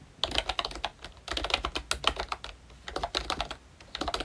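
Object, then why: Plastic membrane keyboard with round keycaps. Fingertips type continuously on a ROYCHE Disney Mickey Mouse plastic retro membrane keyboard with round keycaps. Bursts of soft, bright key clicks come in quick clusters with brief pauses between them.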